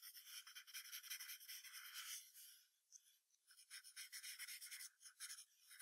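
A yellow wooden pencil draws long strokes for a fox's neck and chest on white paper resting on a brown hardboard clipboard. The graphite makes quiet, bright rubbing and scratching sounds in rapid repeated strokes, with a brief softer lull midway before the strokes pick up again.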